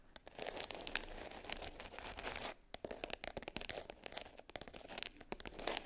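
Long pink French-tip nails tap and scratch the top of a small black hard case covered in glitter fabric, closed and lying flat. A dense, bright crackling scratch runs for about two seconds, breaks off briefly, then returns as quicker, sparser taps and scrapes with sharp, dry clicks.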